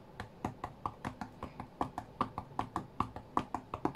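Fingertips and short nails rapidly tap the glass touchscreen of an iPad tablet lying flat on a cutting mat. Twenty-one short, dry clicks ring near 1 kHz in a quick, uneven rhythm, each dying away almost instantly.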